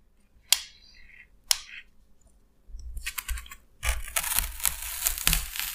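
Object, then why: Expanded polystyrene foam sheet. A hand-held utility knife's metal blade scores and scrapes a large, flat, solid sheet of white expanded polystyrene foam. Two sharp, squeaky strikes ring out first, followed by a short run of crackling scrapes. The clip ends in a denser, continuous gritty scraping with bright crackles.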